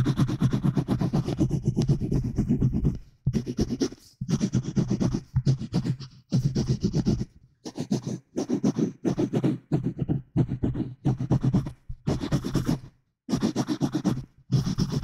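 Fingernails scratch the surface of a solid white paper notepad, roughly A5 size, held close to the microphone in one hand. The rapid, rasping scratches come in bursts of about a second each, separated by brief silences. The sound is dominated by a low, close-up rumble with a faint high hiss.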